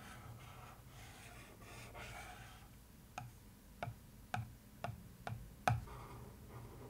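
A wooden stick traces and scratches across the lid of a cardboard box printed with newspaper, making a soft, steady rasping for about three seconds. Six sharp, separate taps on the lid follow.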